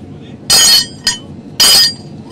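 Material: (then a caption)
Steel. A hot forge-welded steel billet is struck three times at a knife workshop in Ajaccio, giving bright, high metallic clinks with a short ring over a faint background hum. The weld is judged by ear: a clear ring means the billet is well welded, though the ring is less clear while the steel is hot, and here it sounds well welded.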